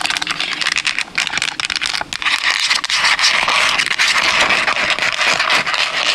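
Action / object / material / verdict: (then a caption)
scrape / hard plastic game controller / plastic / none. A white PS5 DualSense controller of hard hollow plastic is held in both hands near the mic and rapidly tapped and scratched with long acrylic nails across its shell and buttons. The result is a fast, irregular stream of crisp, bright clicks and scratchy rasps with almost no low end.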